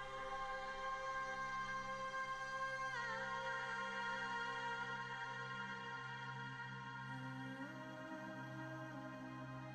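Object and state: Nothing is struck.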